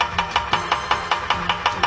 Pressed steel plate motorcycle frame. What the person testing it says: bunyinya nyaring dan kosong, menandakan plat itu tipis